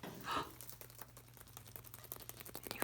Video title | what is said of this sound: Preschool March 31, 2020 Part 1 | You hear something's in there. Something's in these eggs.